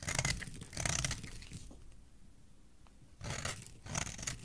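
A utility knife blade shaves a solid embossed white soap bar, giving dry, crunchy scraping strokes with bright, hissy texture over a low rumble. Two stretches of shaving are separated by a quieter pause with a few faint ticks.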